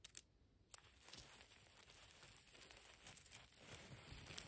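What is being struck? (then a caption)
Pile of concrete and plaster rubble chunks. A pile of dry grey concrete and plaster rubble chunks with dust is scratched and raked with long pastel nails and fingertips. A few sharp clicks open the clip, followed by a steady, bright, gritty scraping and crumbling. The scraping carries small irregular peaks throughout.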